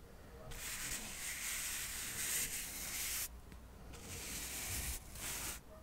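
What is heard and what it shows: A soft paintbrush brushes across a small, solid stack of square cork coasters held above the microphone. The result is four long, bright, hissing sweeps separated by short pauses, with a faint low rumble underneath.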